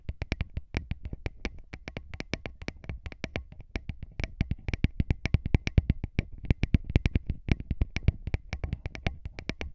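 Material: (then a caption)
Metal. Fingertips of both hands rub and tap directly on two small, hollow cylindrical metal X/Y microphone capsules with mesh grilles on a handheld recorder. The result is a rapid, dense stream of short, dry taps with a heavy low thump and faint bright edges, falling into irregular close-miked rhythms.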